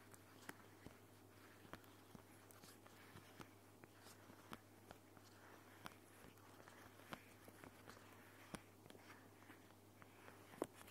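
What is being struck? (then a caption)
Thin plastic protective film sheet. A thin, clear, flexible, hand-sized plastic protective film sheet is held up in both hands close to the recorder and crinkled, rubbed and scratched with long painted nails and fingertips. The result is soft, quiet crackling and scratching, broken by scattered sharp, bright clicks and snaps, over a steady low hum.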